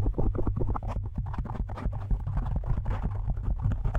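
Fingertips of both hands quickly tap and scratch a large, soft, porous black foam windscreen on a studio microphone. The result is a dense, continuous run of muffled, bass-heavy thumps and rustling scratches with very short decay and almost no high end.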